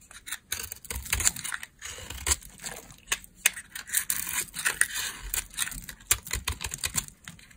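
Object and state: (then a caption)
Dry laundry soap bar being shaved. A solid, stamped beige dry laundry soap bar held in the hand has its edge shaved and scraped with a metal blade, shedding crumbly flakes. A rapid series of short, dry, bright scraping and crackling strokes follows, with no ring after each one and a faint low rumble under some of them.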